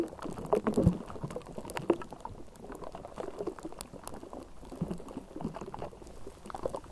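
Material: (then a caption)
Metal mesh. The bare metal mesh grille of a Blue Yeti USB microphone, a hollow dome, is scratched and rubbed with long manicured nails of both hands. The result is a dense, continuous stream of crackling, scraping taps with a low, hollow body and bright clicks. Louder scrapes stand out near the start, then the texture settles into a steady rustle.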